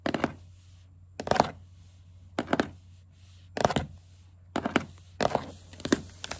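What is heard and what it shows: Fingers wearing green plastic witch-finger caps with pointed tips scurry and tap across a solid wooden tabletop. Short clustered bursts of dry clicking taps arrive in irregular groups separated by quiet pauses, with a mid-pitched knock around 700 Hz, bright clicky edges, and almost no ring. A faint low steady hum runs underneath throughout.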